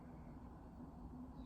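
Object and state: Nothing is struck.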